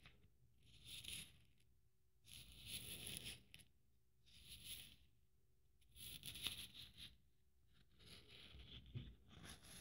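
A blue beaded glitter Christmas ornament is held in the hand while a fingernail slowly scrapes along its bead strings. The result is soft, bright, gritty scraping bursts separated by quiet pauses, with a faint low rumble underneath.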